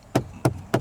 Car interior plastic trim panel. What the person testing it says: you can bang on it and it sounds like it's Hollow somewhere